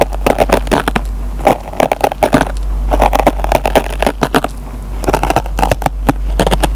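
A metal pen tip scratches and picks at the fibers of a dry kitchen sponge's green nylon scouring pad. It makes a rapid series of short, dry crackling and crunching scratches, with a steady low hum underneath.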